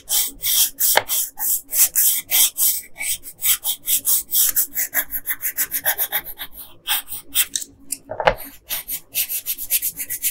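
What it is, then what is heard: Colored pencil scratching on paper. A yellow wooden colored pencil is rubbed back and forth along the hair on the right side of a flat paper coloring page. It makes a quick run of dry, scratchy strokes with a bright, hissing grain and little low end. Each stroke cuts off sharply with no ring.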